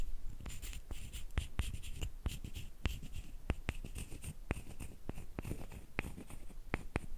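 A short solid wooden stick is scraped and rubbed along a longer flat wooden slat, held close by hands with long painted nails. The result is a steady run of quick, dry scratching strokes with sharp, clicky accents and a soft low rumble underneath.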